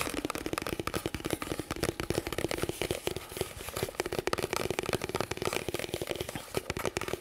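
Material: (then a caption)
Nylon. Fingertips and nails scratch and tap the padded shoulder straps and front panels of a black nylon tactical plate carrier vest with velcro, worn on the chest close to the microphone. A dense, steady run of quick, dry taps and crinkly scratching fills the clip, each tap dying away almost instantly.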